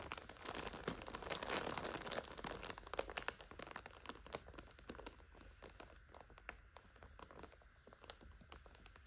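Long acrylic nails scratch and crinkle the clear plastic overwrap of a full purple five-pack of instant noodles lying on a sofa. A dense, bright crinkling with sharp ticking clicks is loudest over the first three seconds, then settles into quieter, sparser scratching.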